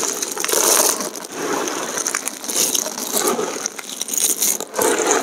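Bare hands and fingertips press, crush and rub a large heap of thin, brittle, multicolored dried soap chips against each other, with some lifted and dropped back into the pile. The result is a dense, continuous crackling crunch that is bright and papery with no low end, swelling and easing in waves as the fragments snap and shift.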